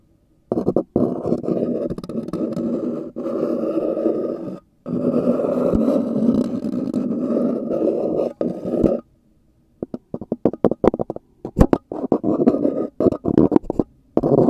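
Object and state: Styrofoam cup scratched.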